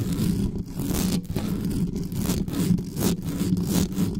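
Long nails scratch fast across the metal mesh grille of an uncovered black studio microphone. The result is a continuous, dense, rasping scrape with a heavy low rumble and quick, bright, hissy bursts as the strokes change direction.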